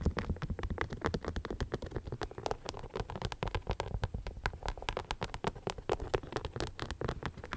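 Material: Rhinestones.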